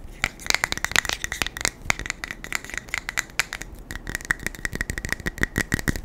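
A small metal beard balm tin is tapped fast and aggressively with the fingers, producing a rapid, uneven run of sharp, rattling clicks. The taps are dry and short, with a thin metallic tone around 2 kHz running beneath them.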